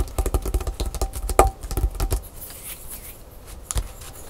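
A wooden stylus works over a flat, thin black-coated scratch-art paper card lying on a wooden table. A quick run of light, dry taps with a faint short ring comes first, then fades into soft, bright scratching as lines are drawn into the coating, with a couple more taps near the end.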